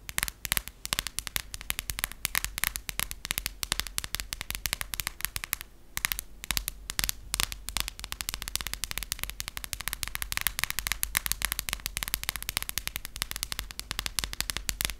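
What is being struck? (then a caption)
Passport booklet with card-and-vinyl cover. Long acrylic nails tap rapidly on the cover of a closed US passport, a cardboard or vinyl cover over paper pages. The taps are dry, bright, crisp clicks that stop instantly, with a faint low hum underneath and a brief lull near the six-second mark.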